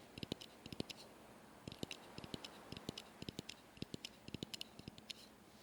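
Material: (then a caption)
Wood. Pieces of wooden driftwood plank are tapped one after another to check whether they are sturdy enough to build a raft. The taps come as short, dry knocks with almost no ring, in quick irregular bursts over a faint hiss, and no piece is judged.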